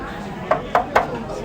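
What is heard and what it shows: Knocks along the body panel of a Vespa scooter give four short, bright metallic taps with almost no ring, over a low background murmur. The panel is steel tin, not fiberglass.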